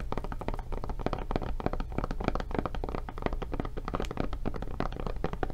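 A thick, padded blue silicone rubber kids' tablet case with a handle flap, fitted over a solid tablet and held in hands, is tapped and scratched across its surface and edges with long dark nails. The result is a rapid, continuous stream of dull, muffled thunks and soft taps that die away almost instantly, mostly low in tone with little bright content.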